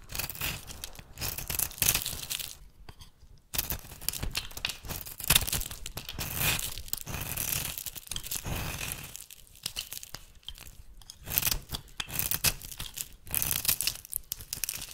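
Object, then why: Translucent glycerin bar soap. A metal blade shaves yellow flakes off the edge of a solid, brown, translucent, glycerin-like oval bar of soap held in the hand. The result is a continuous, bright scraping and crinkly tearing sound in rapid, uneven strokes, with brief quiet pauses. The soap is rancid.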